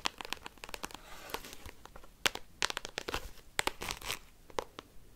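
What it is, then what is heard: Plastic card binder sleeves. Paperclips worn on the fingertips rapidly tap and scratch across an open black binder album with plastic card sleeves. Sharp, bright plastic clicks and crinkly, crunching scratches come in quick, irregular bursts over a soft rustling bed, with almost no ring after each hit.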